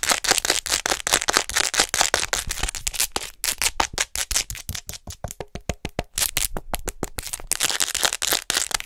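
Long nails tap fast and scratch along the back of a hollow white plastic acupuncture human model held upright close to the mic. Rapid, dry, clicky taps and scraping strokes run in quick bursts, with a faint hollow ring near 750 Hz. The sound is bright, with most energy high and little low end.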